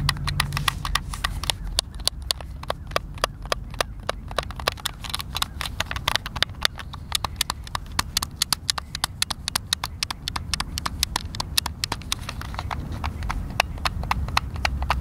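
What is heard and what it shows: A white, hand-sized, hollow plastic Xbox controller is held in both hands while fingertips and thumbs press and click its buttons. A steady stream of sharp, dry plastic clicks rings out fast and bright over a low rumbling background, with no lingering ring after each one.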